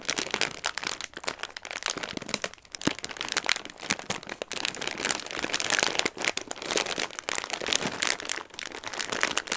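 A clear plastic bag full of dry Christmas pasta is held and squeezed in both hands while long red nails and fingertips rub and crinkle the film. The hard pasta pieces shift inside, producing a steady, dense stream of crisp, high-pitched crinkling and rustling dotted with sharp little clicks and crunches.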